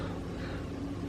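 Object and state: Nothing is struck.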